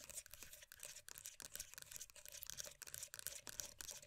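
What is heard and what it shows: Long dark nails rapidly tap and scratch the lid surface and rim of a closed, full, round plastic moisturiser tub. The result is a dense, quiet stream of crisp, bright clicks and scratchy rasps with almost no low end.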